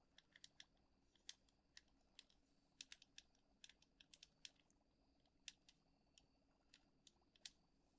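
Long acrylic nails tap and scratch on the silver metal screw lid of a medium glass jar full of dark dried herbs or loose tea. Quiet, bright, sharp clicks arrive in an irregular series over a soft steady hiss, each dying away almost at once.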